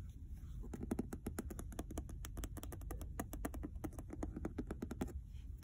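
Rapid, dry fingernail clicks on a leather-bound hardcover, each tick dying almost at once.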